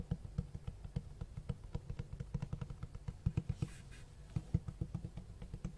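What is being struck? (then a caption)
Cloth-covered hardcover book. Fingertips tap and scratch the cloth-textured cover of a large black hardcover book with white page edges. Quick, soft, low thuds follow one another in an uneven rhythm, with a brief faint scratchy brush partway through. Each tap dies away almost at once.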